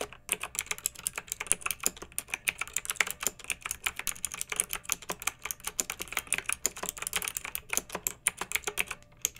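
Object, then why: Plastic mechanical keyboard. Long-nailed fingertips type steadily on a pink mechanical keyboard with round retro plastic keycaps and blue backlight, resting on a fluffy rug. A continuous stream of quick, bright plastic clicks and clacks, each short and dry, with almost no low-end thump. There is a faint low hum underneath.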